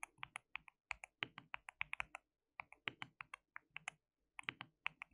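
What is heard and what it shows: Fingertips of both hands type on a white plastic mechanical keyboard with translucent keycaps. About 30 short, bright clicks come in quick bursts, centred near 2 kHz, with brief pauses near 2.5 and 4.2 seconds. Each click dies away almost instantly, with very little low end.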